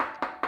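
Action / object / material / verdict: knock / desk top with a thin metal layer / sheet metal / none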